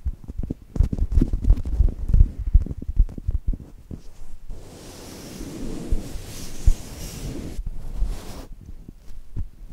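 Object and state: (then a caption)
Foam squishy toy pressed and scratched. Long nails press and scratch the textured surface of a flat brown polyurethane foam chocolate toast squishy held between two mics. Close, soft, low thumps and squishes come in quick, uneven bursts. In the middle these give way to a steadier, brighter scratchy rustle before the muffled pressing returns.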